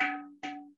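A traditionally low-fired clay pot, fired at only about 1100–1200 degrees, is tapped twice, with a third tap just starting as the clip ends. Each tap gives a short, dull, muted tone with a low hum and a faint mid-pitched ring that fades within about a third of a second. The dead "dud" sound marks it as low-fired, in contrast to a higher-fired pot.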